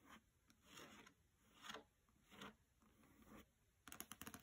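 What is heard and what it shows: Fingernails scratch and rub along the edges and glossy paper dust jacket of a hardcover copy of the novel "Graceling" resting on a carpet. Soft, broadband scratching strokes swell and fade several times, then end in a quick run of sharp, bright taps and scrapes.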